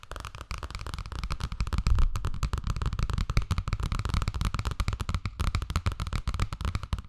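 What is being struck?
Hardcover picture book, cardboard and paper.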